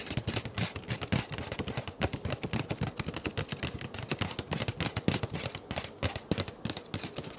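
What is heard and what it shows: Fingertips and nails tap and scratch the surface of a flat, empty-looking, hand-sized dark grey paper envelope held up near the face. The result is a quick, irregular run of short, dry taps with soft papery thumps and brief bright scratchy crackles, each dying away almost at once.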